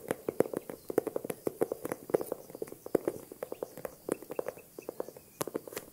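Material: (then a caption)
Leather. Long nails tap and scratch across the textured surface of a small green faux-croc, crocodile-embossed leather handbag with a top handle. The result is a rapid, irregular run of short, dry clicks with a hollow mid tone, mixed with soft scratching and no ring after each tap.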